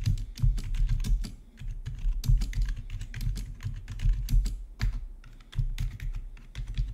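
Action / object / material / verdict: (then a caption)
tap / plastic keyboard / plastic / none. Fingertips of both hands type steadily on the keycaps of a full-size black plastic gaming keyboard with rainbow backlit keys, resting on a marble-look desk. The keystrokes come in a quick, continuous stream of short, deep thuds, each with a brief bright click on top that dies away almost at once.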